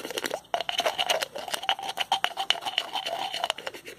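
The cap of a small white plastic pill bottle with a blue label is twisted back and forth with the fingertips, producing a rapid, uneven run of sharp ratcheting clicks. The dry, crisp clicks carry bright, high-frequency content, with a steady squeaky tone around 3 kHz and a weaker one near 700 Hz. There is no low rumble.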